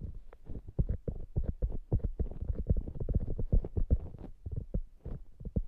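A soft polyurethane foam squishy hamburger toy is held close to the microphones while long nails scratch and tap its top surface. The result is a quick, irregular run of dull, muffled taps and soft scratchy rustles, deep and padded, with no bright edge and no ring after each touch.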